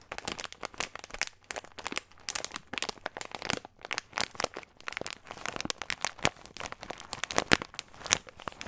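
Fingertips crinkle and squeeze a small clear plastic bag with a green label, full of nuts. The result is a dense, continuous run of sharp, bright crinkles and crackles with very little low end, each burst dying away almost instantly.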